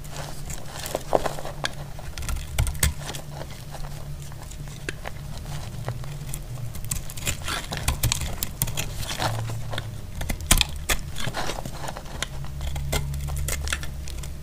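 A solid, reduced piece of dry dark brown soap held in the hand is sliced with a metal utility blade. It gives a run of short, dry, crackly cuts and crisp scrapes with bright edges, each dying away almost instantly, over a steady low hum.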